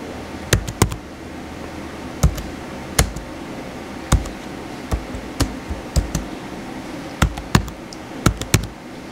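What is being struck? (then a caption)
Plastic laptop keyboard keys. Fingertips type and tap on the white plastic keys of a blue plastic laptop keyboard, making irregular bursts of short, sharp clicks. Each keystroke has a dull low thump with a bright tick that dies away almost instantly, over a steady low background hum.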